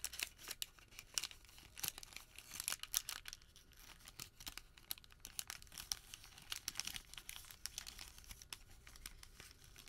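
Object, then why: Thermal paper receipt. A small folded white thermal paper receipt is folded and pinched between fingertips, giving a steady run of dense, quiet, bright crinkles and sharp crackles. The sound stays mostly high with little low end, and each crackle cuts off almost instantly.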